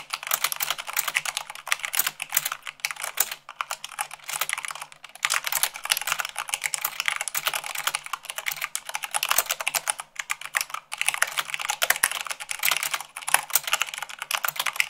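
Fast typing with fingertips and long nails on a mechanical keyboard with white plastic keycaps on a black base. Dense, rapid bright clicks and clacks run in bursts, with brief pauses near 3.5, 5, 10 and 11 seconds.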